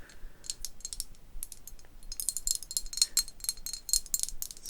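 A small, weighty porcelain dollhouse bathtub from a thrift haul is tapped, giving quick, bright clinks with a chime-like ring. The taps come in rapid clusters with very short decay. The piece is undamaged, with only a little dust.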